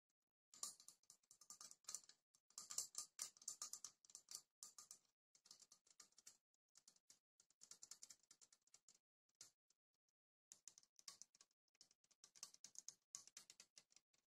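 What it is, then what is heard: Aluminium drink can tapped with fingernails. A hand-sized, hollow yellow aluminium drink can is held up and tapped with long painted fingernails. The result is quiet, rapid, bright clicking taps in bursts, with short pauses and a brief silence near the end before the tapping resumes.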